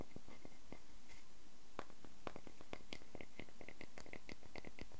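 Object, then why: Wooden log slice. A fingertip taps and fingernails scratch across the ring face of a solid wooden log slice with a bark rim, resting on a black surface. Quiet, sharp, dry clicks and ticks with bright edges repeat irregularly over a soft, steady scratchy hiss.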